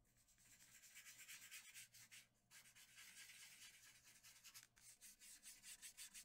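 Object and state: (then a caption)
Brush rubbing on drawing paper. A small round brush with a wooden handle rubs and blends graphite below the eyes of a drawing on a large flat sheet of white drawing paper. The result is a quiet, bright, hissing brush-on-paper rub in quick back-and-forth strokes, pausing briefly twice.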